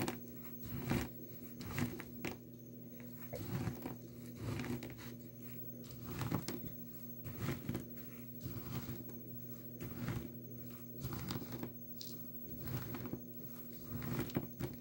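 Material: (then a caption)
Soap. Dry blue soap crumbs and chips in a small plastic tub are crushed with the bottom of a glass nail polish bottle. Irregular bursts of dry crunching and crinkling crackle out at an uneven pace. A steady low hum runs underneath.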